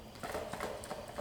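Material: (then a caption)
Tin. A sealed 2-ounce metal tin of pipe tobacco is shaken, and the loose contents knock and slide against the tin walls in quick, hollow clatters. The tin is not full, and it sounds like a single pressed block or plug moving around inside rather than shredded tobacco.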